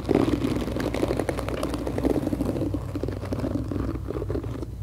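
Long acrylic nails tap the back of a pink hollow plastic paddle hairbrush and scratch across its black nylon bristles. The result is a dense, continuous stream of quick, dry taps and scrapes with a hollow, low-mid plastic tone. It holds steady for about five seconds.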